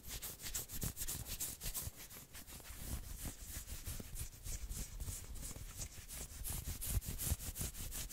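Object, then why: Knit fabric sweater sleeve. Long nails rub and scratch fast along the sleeves of a dark red and black patterned knit sweater worn by a person, over soft, thin fabric on the arms. Quick, uneven scratchy strokes come in a steady stream, each a bright hiss over soft low thumps. They continue without pause for the whole clip.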